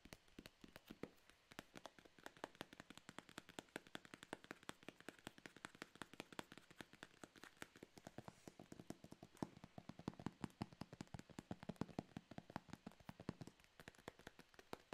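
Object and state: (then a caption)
Paperboard box. A small, closed blue and white printed Anker paperboard retail box is held in one hand and tapped rapidly with the fingertips of the other. The result is a quiet, steady stream of dry, fast taps, each a short click that stops at once with no ring. The taps have a soft low thump under a brighter edge.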